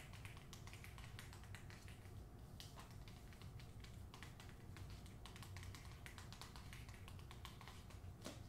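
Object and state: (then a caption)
Hardcover book with paper dust jacket. Long nails tap rapidly on the spine of a hardcover novel, then on the front cover of its glossy paper dust jacket. The taps are quick, dry, bright clicks with very little ring, steady and quiet over a constant low rumble.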